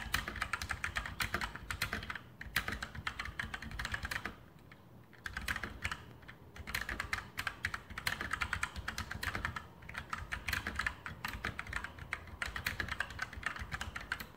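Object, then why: Mechanical keyboard with plastic keycaps on a metal plate. A full-size RGB mechanical keyboard (Sharpshooter X2000) with Outemu brown switches and plastic keycaps on a metal top plate is typed on with the fingertips in continuous key presses. The rapid clacks are short and dry, with a bright click centered around 1.6 kHz and a low thock beneath, broken by brief lulls near 2, 4.5 and 10 seconds.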